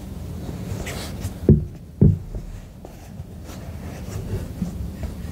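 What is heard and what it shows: Fingertips tap the body of a hollow white silicone duck night lamp resting on a wooden table. Two louder, dull, low-pitched thuds stand out, each dying away almost at once, amid fainter soft taps and a low background rumble.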